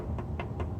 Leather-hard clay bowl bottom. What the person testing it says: I always flick the bottom hear that popping sound